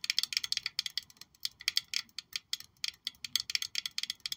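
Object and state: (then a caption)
Glass perfume bottle tapped with fingernails. A black glossy glass perfume bottle shaped like a high-heel shoe with a gold heel, hollow and palm-sized, is held in one hand and tapped all over with long pointed acrylic nails. The result is a rapid, uneven run of sharp, bright clicks with almost no ring or low end.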